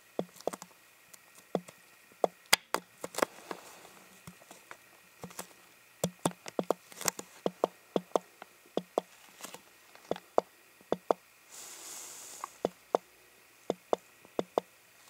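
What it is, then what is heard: Empty plastic water bottle, hollow. An empty, hollow clear plastic water bottle without a cap is held in the hand and tapped with the fingertips in an irregular run of quick, light taps. Each tap is a short, dry, hollow knock with a bright click and almost no ring. A brief soft hissy rustle sits between the taps about two-thirds of the way through.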